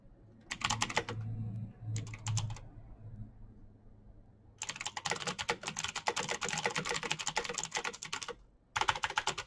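Fingertips of both hands type fast on the keycaps of a backlit plastic mechanical keyboard, a Razer BlackWidow with clicky green switches. Short bursts of sharp, bright clicks give way to a dense, continuous clatter of keystrokes from about 4.6 seconds, broken by a brief pause near 8.5 seconds before the typing resumes. A low hum sits underneath.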